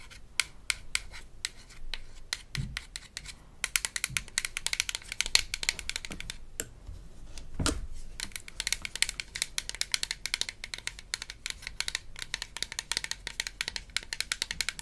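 Long nails scratch and tap the paper label on a small, hollow, blue plastic toy dental rinse bottle from a Melissa and Doug Super Smile Dentist Kit. The result is a dense run of quick, dry, bright clicks and scratchy rasps with almost no ring, broken by a few soft, low thumps.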